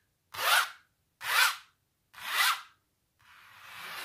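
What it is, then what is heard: Textured painted canvas. Long natural nails scratch over the thick impasto paint of a large, textured painted canvas. Three separate rasping strokes, each swelling and fading in about half a second, are followed by a longer, quieter continuous scratch that slowly grows louder. The sound is a dry, bright, hissy scrape with almost no low end.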